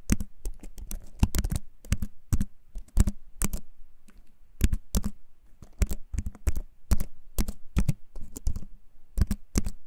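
A compact wooden-framed computer keyboard is held in both hands while its keys are pressed with fingertips. The result is a steady run of quick, dry typing taps with a low, thuddy body and almost no ring, some landing in fast clusters between brief pauses.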